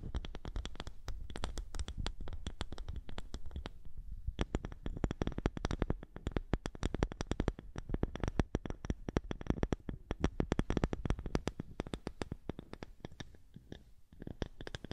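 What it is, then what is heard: Wooden disc. A small, thick, round polished wooden disc is held in front of a microphone and scratched and tapped with long nails. The result is a dense, steady stream of short, dry clicks and scrapes with a soft, low-heavy body and very little bright content. A brief lull comes near the four-second mark before the tapping picks back up.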